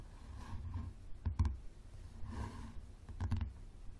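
Fingertips and nails of both hands tap the spine and cover of a yellow softcover book with a leathery cover, lying on a wooden table with its spine facing out. Soft, dull low thuds come in two quick clusters of sharp clicks, with a faint scratchy rustle in between. Each tap dies away almost at once.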